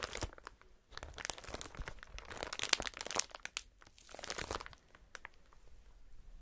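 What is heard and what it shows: A clear strip of inflated plastic air cushion packaging with hollow cells is bunched and squeezed between gloved hands. It makes dense, bright crinkling and crunching in uneven bursts, with short quiet gaps between squeezes.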